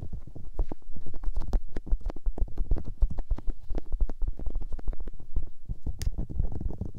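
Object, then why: Silicone microphone ears. Fingertips and long nails rub and massage soft white silicone ear shapes on a binaural microphone. The result is a dense stream of muffled, low thumping and squishing rubs with quick, dry contact bursts, plus an occasional brighter tick from a nail.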